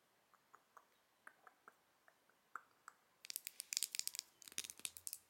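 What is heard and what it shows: Long nails tap the gold frame of a small, hollow, open square gold metal-finish single eyeshadow compact with a mirror lid and gold eyeshadow pan, held up close. Sparse, light, clicky taps come first, then turn into a quick, dense flurry of bright, crisp ticks with almost no ring or low end.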